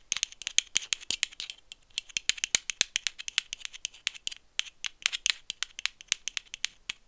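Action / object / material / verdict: tap / metal aerosol can / metal / none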